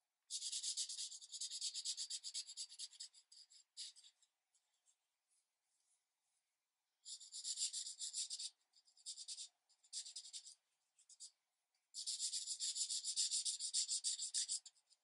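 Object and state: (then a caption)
Paper coloring page. A green felt-tip marker is rubbed in short strokes over the tree foliage on a thin paper coloring page resting on a light pad. The result is a dry, bright, scratchy rubbing with no low end, heard in three main bursts of rapid strokes separated by brief pauses and a few isolated scratches.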